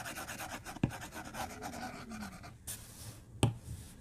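A white plastic stylus tip rubs and scratches across the flat glass screen of a tablet resting on a desk, in short repeated strokes. The result is a soft, steady scratchy rasp with a low hum underneath, broken by two sharper taps.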